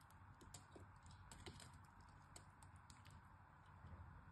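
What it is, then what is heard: Bar soap being scraped. A utility knife blade cuts and scrapes flakes from the surface and edges of a hand-sized, solid purple-and-white striped bar of soap held in the hand. Quiet, crisp scratching clicks and ticks repeat steadily over a low, dull background rumble.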